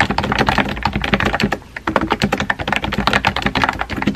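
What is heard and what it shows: Fingertips type on a compact pink plastic keyboard with round white keycaps, tapping the keys in a fast, steady stream of short, dry clicky taps. The typing briefly eases off around the middle before resuming at the same quick pace.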